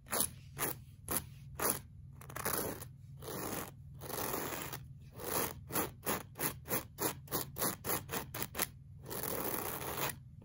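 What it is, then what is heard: Looped fabric rug being brushed. A pink plastic-bristle brush scrapes across a flat, solid beige looped-pile woven rug in a series of stroking passes. Each stroke is a dry, broadband scratchy rasp, some long and some short and quick, over a faint steady low hum.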